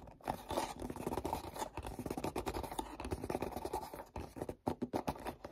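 Fingertips scratch and grip the back of a black cardboard perfume gift box. A steady run of quick, dry scratching strokes fills the clip, with most of the energy low and mid-range and little brightness. Each stroke stops short with almost no ring.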